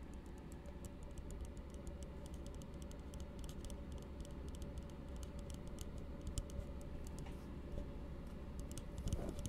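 An empty, hollow blue plastic tumbler held upside down is tapped rapidly with the fingertips. Quick, light, bright ticks patter steadily over a constant low hum, growing slightly louder near the end.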